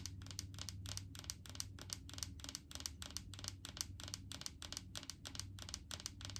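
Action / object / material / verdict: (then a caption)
tap / large plastic jar of coconut oil / plastic / none. Long painted fingernails tap and scratch on a large clear plastic jar full of solid coconut oil, on both the jar and its label. The result is a quick, steady run of sharp, bright clicks that die away almost instantly, with light scratchy texture between them over a low, constant hum.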